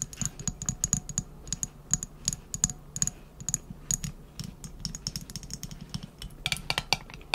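Long nails tap and scratch on a round glass jar filled with wrapped candies, held in both hands. Dozens of quick, bright clicks ring high and short against the glass, with light scratching in between, in an irregular tapping pattern.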